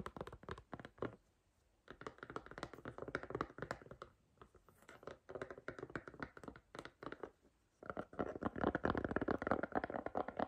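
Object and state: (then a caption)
Silicone phone case. Long green nails tap rapidly on the back and inside of an empty striped white, green and blue silicone iPhone case with a soft, rubbery shell. The taps are short, dull and muted, with almost no ring, and come in irregular bursts with brief quiet gaps. The busiest, densest tapping comes at the end.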